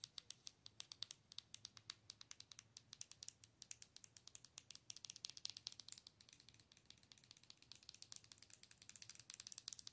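Long nails rapidly tap the face and sides of a hollow, glowing plastic owl night light, giving about 79 quick, dry, bright clicks. Each tap is sharp and dies away almost instantly, with almost no low end, over a quiet, steady background.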